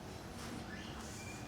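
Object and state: Nothing is struck.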